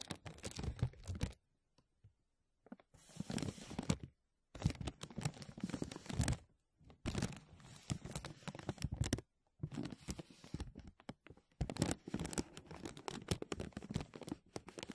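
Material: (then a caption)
Plastic. A thin, clear, embossed plastic vacuum-seal bag is draped over a mesh microphone dome while fingertips and nails scratch and crinkle it. The result is bursts of dense crackling and rustling, full in the low end, separated by short silent pauses.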